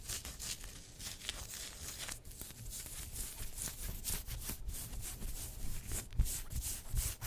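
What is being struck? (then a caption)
Polyester sports jersey. Long white acrylic nails on both hands rub and scratch across the chest of a black pinstriped polyester football-style jersey with yellow trim, worn on the body. The result is a steady, dry scratching and brushing with bright, hissy fabric friction over a low, soft rumble, with a few sharper scrapes near the end.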